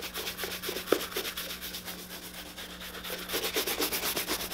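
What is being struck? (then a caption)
Leather boot and bristle shoe brush. A tan leather boot is held up and buffed quickly with a bristle shoe brush. It makes a rapid run of hollow, bright brushing and rubbing strokes, growing denser and louder toward the end, over a faint steady low hum.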